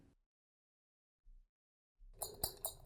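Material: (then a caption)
Metal. Loose metal taps fitted on clogging shoes are shaken and knocked, giving a bright, jangly metallic rattle with several sharp clinks near the end, after faint low thumps. The taps rattle instead of giving a single clean tap, which is why flat taps are preferred for a sudden tap on the floor.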